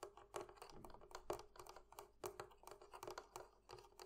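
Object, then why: Metal fittings on a barrel chest. Fingers tap on the metal fittings of a barrel chest, producing an irregular series of quick, dry clicks and light knocks. Each tap dies away almost at once, over a faint steady tone near 400 Hz, with bright edges on the sharper strikes.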